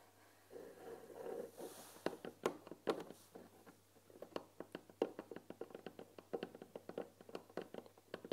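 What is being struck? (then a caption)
Painted wooden tea box. Fingertips and nails tap along the front panel and top edge of a white painted wooden tea box holding tea packets. A soft rubbing opens the clip, followed by a long run of quick, dry, hollow taps centered around 450 Hz, each dying away almost instantly.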